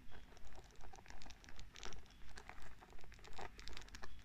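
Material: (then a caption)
Wood. Fingertips and long nails brush and flick over the wooden pins of a small wooden paddle hairbrush. They make a soft, steady, rhythmic patter of quick scratchy bursts with bright crackly edges over a low, quiet rumble.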